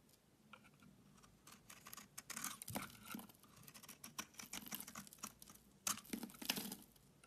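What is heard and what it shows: A solid oval green Dalan bar soap, held in hand, is shaved and scraped with a utility knife blade. Soft, dry scratching and crisp scraping strokes come in uneven bursts, bright and hissy with a faint low tone beneath. The louder strokes gather near the end.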